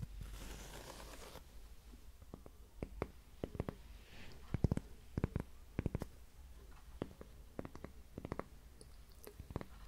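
A thin, flat, solid heart-shaped cork coaster is held up in one hand and tapped and scratched with long manicured nails. A brief bright scratchy rustle opens the clip, followed by sharp, dry taps scattered over a low, soft background hum.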